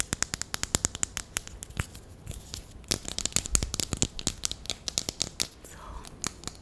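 A single small, hollow grey plastic marker pen is held in the fingers while long nails tap and scratch along its barrel. The result is a rapid, uneven series of sharp, bright clicks with brief scratchy rasps between them, each tap dying away almost instantly.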